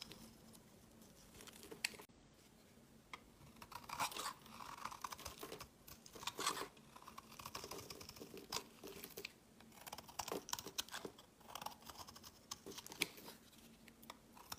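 A utility blade scrapes curls off a solid white rectangular bar of soap held in the hand. The strokes come as a steady run of dry, crisp scraping and crinkling bursts with a bright, papery edge, quiet overall and with no ring after each stroke.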